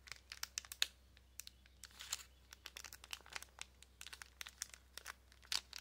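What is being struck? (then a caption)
Thin plastic packaging bag with a card inside. A small clear plastic packaging bag holding a card of pink press-on nails is crinkled and scratched with long nails. Quiet, bright, crisp crackles and scratchy rustles come in quick irregular bursts, with a faint low hum underneath.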